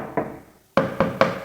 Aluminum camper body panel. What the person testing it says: 이렇게 두드려 보면은 소리 자체가 네 이렇게 둔탁한 소리가납니다